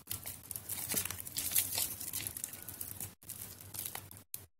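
A solid white bar of soap, soft and mushy from soaking, is squeezed in a plastic basin of water by hands with long yellow nails, crumbling pieces off. Dense, bright, wet crackling and squishing crunches run steadily, briefly dropping to silence twice near the end.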